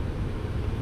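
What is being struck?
Nothing is struck.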